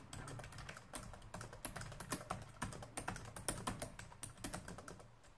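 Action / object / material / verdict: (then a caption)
tap / plastic laptop keyboard keys / plastic / none. Both hands type with their fingertips on a black plastic laptop keyboard, producing a steady run of quick, short, bright key taps that die away almost at once. A constant low hum sits underneath the clicking throughout.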